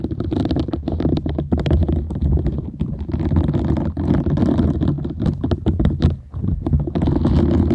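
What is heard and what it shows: Long nails scratch and tap the bristle side of a round, palm-sized green silicone scrubber sponge with small bristles, solid and flexible, held in front of the microphone. The sound is a dense, low, rumbling scrape full of quick, crackly taps that runs steadily throughout, with only brief dips.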